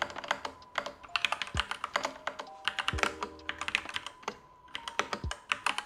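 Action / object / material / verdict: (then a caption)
tap / mechanical keyboard with plastic keycaps / plastic / none. An assembled, unmodded Next Time 75 mechanical keyboard with Gateron Yellow switches, black plastic keycaps and a light case is typed on rapidly with both hands' fingertips. The result is a fast, steady run of short, bright clacking key presses with a few deeper thuds mixed in.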